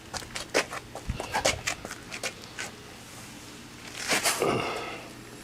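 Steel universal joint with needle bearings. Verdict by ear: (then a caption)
Loose. A drive shaft's steel universal joint with needle bearings is shaken by hand, giving a quick series of about nine sharp, light metallic clicks and knocks, followed by a longer scraping rattle. The clatter comes from play in the joint's worn, loose bearings, which are faulty, and all four bearings are to be replaced.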